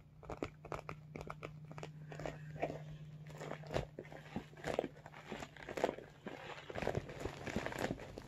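A medium iridescent holographic vinyl cosmetic bag is tilted and handled while fingers squeeze and crinkle its glossy vinyl surface. Irregular, close crinkling and crackling bursts come at an uneven pace, centered in the mids with brief brighter snaps. A faint steady low hum sits underneath for the first few seconds.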